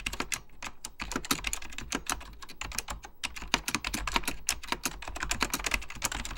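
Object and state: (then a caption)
Mechanical keyboard being typed on. Fingertips type rapidly on an Apple Extended Keyboard II, a plastic mechanical computer keyboard with beige plastic keycaps and a hollow plastic case. A quick, steady run of sharp, bright key clicks comes through, each with a light hollow low thump underneath. The taps stop dead with almost no ring.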